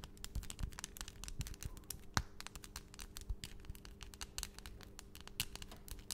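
Long, pointed, solid acrylic nail extensions in pastel colours on both hands are tapped and clicked against each other quickly. Dense, rapid, bright clicks crowd together over a low steady hum, with a few sharper louder taps standing out.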